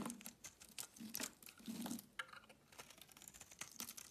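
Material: Soap.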